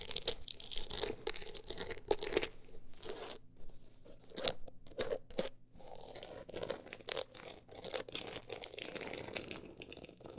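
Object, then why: Closed book with an embossed, woven-look cover. Long acrylic nails scratch across the woven-look embossed cover of a closed, solid book as it is handled and tilted. The result is a dense run of dry, bright scratching and crunchy rasps with short, sharp peaks and brief pauses between strokes.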